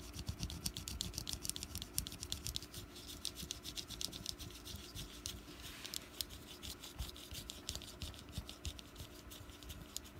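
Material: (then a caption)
Wax. Long nails and fingertips scratch a small, solid orange wax pumpkin candle while it is rotated slightly on a mat. The result is a dense run of quick, dry, bright scratches and ticks over a steady low hum, with a brief softer rubbing swell near the middle.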